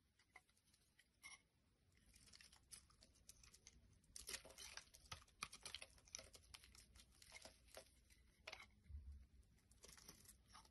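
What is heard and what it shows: A black blade scrapes and carves shavings off a solid white rectangular bar of soap held in the hand. The result is a quiet run of dry, crisp scratching and crackling, made of many short, bright clicks that grow busier and louder through the middle before easing off.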